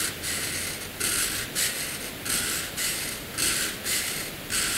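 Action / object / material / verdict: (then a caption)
scrape / graphite pencil on drawing paper / paper / none. A hand draws dense short strokes and lines with a graphite pencil on a sheet of flat white drawing paper. The pencil makes a bright, high, scratchy hiss that swells in repeated bursts of strokes, with softer scraping between them.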